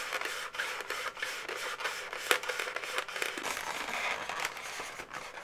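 Long natural nails scratch, tap and rub the inflated segments of a medium-size pink twisted latex balloon dog, hollow and air-filled. The result is a steady stream of bright, rubbery squeaks and scratchy friction with almost no low end, broken by short dry taps, the sharpest landing just past the two-second mark.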